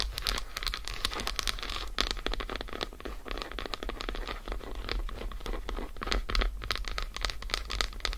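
Long acrylic nails tap and scratch quickly across the squares of an unwrapped, solid dark chocolate bar lying on fur. The result is a dense run of crisp, bright clicks and scratchy rasps over a steady low hum, with no speech.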